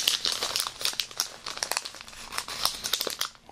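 A small printed plastic-film snack bag with a nutrition label is held in both hands above an open cardboard box and crinkled and rubbed with the fingertips. The result is a steady stream of bright, dry crinkling and crackling with almost no low end. The sound eases off toward the end.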